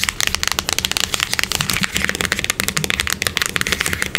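A small, hollow, closed printed cardboard box is held in the hands and rapidly tapped and scratched on its face and edge with long acrylic nails. A fast, dense run of crisp, bright clicks and scratchy rustles follows, each tap dying out almost instantly over a faint low hum.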